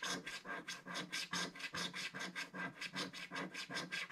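A thin wooden stick scratches a flat, black-coated scratch-art paper page near its bottom edge. About fifteen short, dry, raspy strokes follow one another at a steady but slightly uneven pace. Each stroke has a bright, hissy scrape and little low end.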